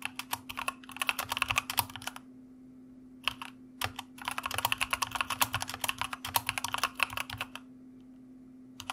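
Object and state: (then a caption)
Plastic mechanical keyboard. A white mechanical computer keyboard with plastic keycaps and a red backlight is typed on with the fingertips of both hands. Quick runs of bright, clacky keystrokes come in bursts separated by short pauses, over a faint steady low hum.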